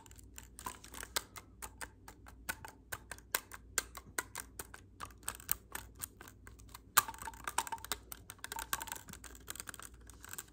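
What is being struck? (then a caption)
Clarinet with metal keys. Fingertips tap the silver metal keys of a hollow black clarinet held horizontally. Dozens of quick, dry, bright clicks fall in an irregular stream over a faint low hum, with a sharper, louder click near the middle followed by a denser, busier patter of taps.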